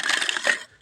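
Hard, well-fired wood charcoal is struck and broken, giving a bright, clinking crunch with a ringing high tone that fades within a second. It is so hard it must be broken up, and the clear ring marks it as good charcoal.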